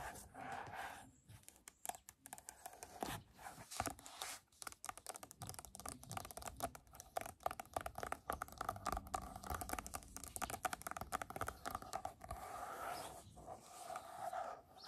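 A large paperback coloring book ("Mermaids and Other Sea Creatures") with a glossy card cover over a solid stack of paper is held up and tapped on its front cover with long acrylic nails. The result is a quick run of dense, dry clicks and scratchy taps that die away almost at once, with a faint mid-pitched hum running underneath.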